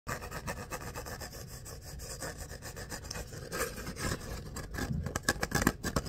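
Fingertips and nails scratch and rub along the vertical ridges of an empty, hollow kraft paper coffee cup with a ribbed outer sleeve, held in both hands. The result is a fast, dry, rasping scrape with a steady ripple of tiny clicks and a hollow papery body, growing louder and brighter in short, sharp bursts toward the end.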